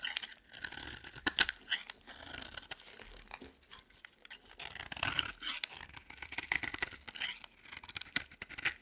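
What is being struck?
Bar soap.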